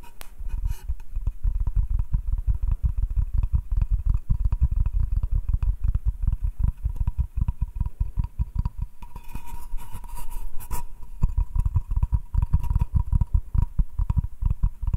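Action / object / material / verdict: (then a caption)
tap / wooden cutting board / wood / none. Short nails scratch and tap the face and edge of a solid butcher-block wooden cutting board, first held upright and then laid flat. Rapid, dense, dull low thuds mix with dry scratching, and a faint steady tone lingers underneath.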